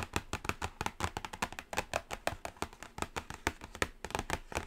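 A black cardboard Carnival eyeshadow palette box is tapped and scratched on its lid, first with a single long nail and then with several nails. A rapid, steady run of short, dry, hollow clicks with almost no ring, mixed with soft scratchy rustle between taps.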